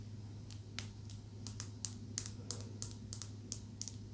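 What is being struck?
Small polished calcite stone tapped with fingernails.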